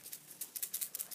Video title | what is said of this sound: Chestnut and Ratatouille Cage Tour | it actually has like a little rattling noise if you shake it